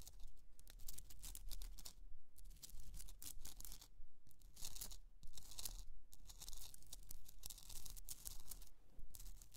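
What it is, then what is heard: Himalayan salt candle holder. Long pointed nails scratch the crystalline surface of a rough, hand-sized, hollowed pink Himalayan rock-salt candle holder resting on fur. Quick, fairly steady strokes make bright, gritty scratching bursts over a constant low hum.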